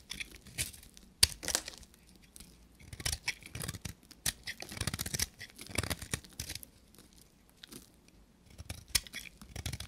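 A knife blade scrapes and shaves a palm-sized, solid, dry soap bar with a copper-painted coating and a pale inside, and crumbs fall away. Short, bright, dry scraping and crackling strokes come in irregular bursts, like tearing or crinkling, with no ring after each cut.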